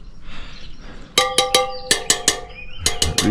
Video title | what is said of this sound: CHANGER LES ROULEMENTS DE ROUE AVANT SUR UN CROSS 🛠️🏍️ (Tuto Facile & Rapide) | Lui, il fait une très sale mélodie